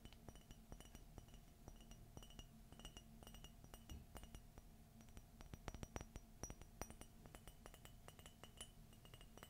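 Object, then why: Glazed ceramic mug. Fingernails rapidly tap the outer wall of an empty, hollow white glossy ceramic coffee mug with a gold forest and Minnie print and a gold handle. Dozens of quick, dry clinks with short bright glassy pings ring out over a steady low hum. The taps come in uneven bursts and grow a little sharper and louder toward the middle.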